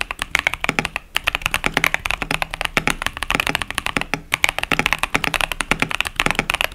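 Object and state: Plastic mechanical keyboard.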